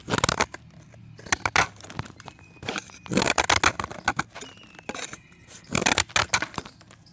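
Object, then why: Pressed chalk disc scraped with a blade. A solid white pressed chalk disc, palm-sized, is scraped along its edge with an orange-handled box-cutter blade. Bursts of dry, bright scraping and crumbly crackling come in uneven clusters, separated by quieter gaps.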